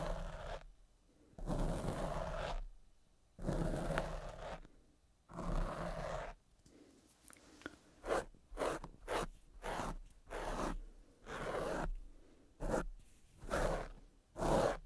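Fingertips scratch and rub the dark, fist-sized, soft and porous foam windscreen covering the left microphone. It makes rough, muffled, crackly scraping bursts with a low rumbling thump beneath them, separated by near-silent pauses. The strokes come slowly at first, then in quicker, shorter rubs.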